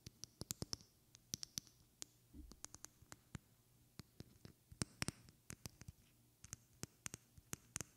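A small, partly filled glass perfume bottle with a white cap is tapped and scratched with long red-painted fingernails. About 34 short, crisp clicks with bright, high glassy tings come in quick irregular bursts, and a brief soft scrape and low thump are heard near the middle. Each tap dies away almost at once in a quiet, close setting.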